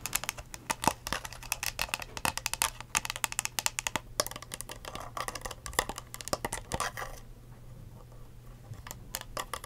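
A hollow, empty clear ridged plastic cup with a blue lid and curly straw, held upright, is tapped rapidly with long acrylic nails. The result is dense, sharp, bright clicks with very short decay, briefly thinning to sparse taps near the end.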